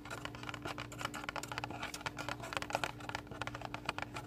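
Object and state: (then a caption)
Paper booklet cover. Fingernails scratch and rub the thin card cover of a small pink paper-covered recipe booklet held in both hands. The result is a quiet, continuous run of dry, rapid scratching clicks and rustles, brighter in the highs, over a steady low hum.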